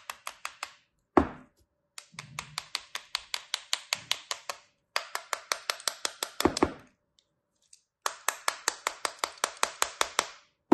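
A small, solid tan kinetic sand shape molded like a fluted cupcake is held in one hand while a thin metal cutting tool, held by a hand with dark-painted nails, slices and scrapes into its top and side, carving away crumbly sand. About forty short, crisp, bright ticks come in quick, steady bursts separated by brief pauses, with a few heavier dull thumps mixed in. Each hit stops almost at once, leaving no ring.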